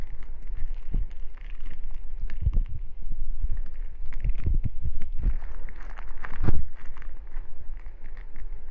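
A small 30 g printed metallized-plastic snack bag with shrimp sticks inside is held in both hands while fingertips pinch, crinkle and tear open its top edge. Dense, continuous crinkling and crackling runs throughout, with sharper rustling bursts that stand out and low, soft handling thumps underneath.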